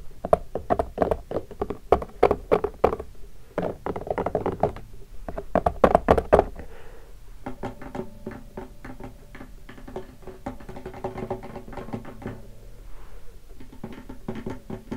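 Fingertips tap the wooden top near the soundhole of a hollow wooden acoustic guitar lying in its open case. The result is quick, irregular hollow knocks with a warm midrange body tone and almost no ring. The tapping is loud and clustered for the first seven seconds, then continues as softer, lighter taps.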